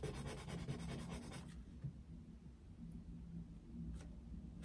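A yellow wooden coloured pencil shades densely across an open paper colouring book resting on a desk, producing a fast, bright scratching and rubbing for about a second and a half. The strokes then stop, leaving a quiet low rumble broken by a couple of brief, faint scrapes on the paper.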